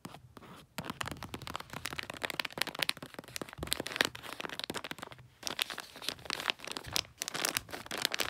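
Long nails scratch across glossy red wrapping paper on a gift and its round paper snowman sticker tag, making dense, bright, crinkly scratching with many quick crackling ticks. The scratching runs almost continuously, with brief pauses near the start and just past the midpoint.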